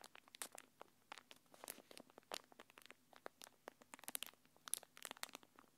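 A thin translucent plastic packaging film wrapper, held between both hands, is crinkled and rubbed with long painted nails. It makes a quiet, rapid series of sharp, bright crackles and crinkles that stop almost instantly, with almost no low end.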